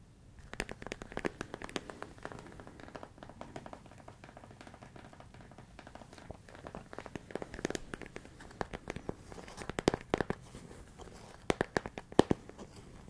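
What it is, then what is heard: Plastic food container filled with rice. A large, clear plastic storage container with a lid, full of rice, is held up and tapped and scratched on its sides with the fingertips. Soft, dense scratching and crinkly rustling run throughout, with quick, dry taps scattered over it. A few sharper, louder taps come toward the end.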